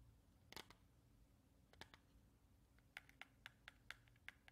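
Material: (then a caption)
Cardboard. A small, hollow yellow cardboard matchbox with a striker strip is held close and quickly tapped and scratched with long red-painted nails. Short, dry, bright clicks come in scattered bursts, faster toward the end, with no ring after each tap, over a quiet low hum.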